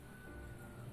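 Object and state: Nothing is struck.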